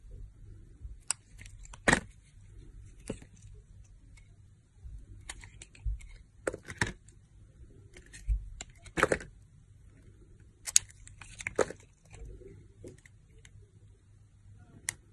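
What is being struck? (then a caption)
Glitter-coated soap bar. A solid translucent orange soap bar with a glitter coating is held in the hand and shaved with a utility knife blade. Eleven short, bright scraping and carving strokes stand out over a quiet low hum, each with a crisp crackle and almost no ring afterward.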